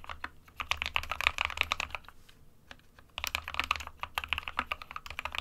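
Fingertips of both hands type on an SK61 compact 60% plastic mechanical keyboard with white and grey keycaps. A rapid run of short, bright, clacky keystrokes with very little ring goes quiet for about a second in the middle, then the typing resumes at the same quick pace.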